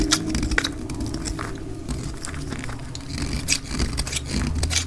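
A metal utility blade cuts flakes from a solid oval pink bar of dry soap held in the hand. Quick, dry scraping strokes and crisp, bright crackles repeat steadily over a low, continuous rumble, with short sharp ticks and no ringing after each cut.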